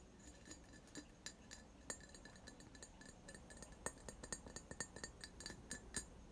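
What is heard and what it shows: A medium-sized, apparently empty hollow vase of clear glass with a faceted, textured surface is held close to the microphone and tapped and scratched with fingertips and nails. The result is a quiet, irregular series of short, bright glassy clinks with a tone near 1.8 kHz and high sparkle above. The clinks sit over soft scratching and a low background hum, and each dies away almost at once.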